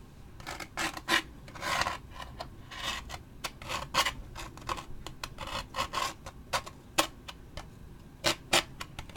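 A thin wooden pick or toothpick is scratched over the printed surface of a large, hollow, waxed paper drink cup with a lid and straw, held in the hand. It makes a run of quick, dry, raspy scratching strokes with a bright, papery hiss, some short and sharp and others longer drawn-out rubs. Each stroke stops almost at once with no ring.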